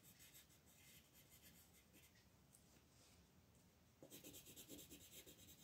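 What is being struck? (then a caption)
Wooden colored pencil on a paper page. A green wooden colored pencil is rubbed in shading strokes over a leaf area of a flat, thin paper coloring book page lying on a table. The result is a soft, steady, scratchy rasp of repeated strokes that turns louder and brighter near the end.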